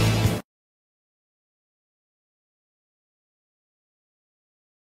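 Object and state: Nothing is struck.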